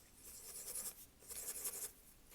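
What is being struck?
Nothing is struck.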